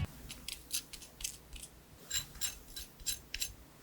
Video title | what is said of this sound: Making Fried Chicken Adobo From Start to Finish (Adobo Sauce, Cucumber Salad, Fried Chicken & MORE) | first off I just want to do a crispiness check so you can hear how crispy this chicken is